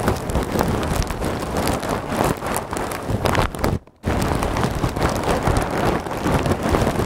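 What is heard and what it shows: Fingertips and nails press, squeeze and scratch a large clear plastic bag full of small white polystyrene foam beads held behind the microphone. The result is a dense, continuous crinkling and rustling with a heavy low rumble and bright crackle. It breaks off into near silence for a moment around the four-second mark before resuming just as steadily.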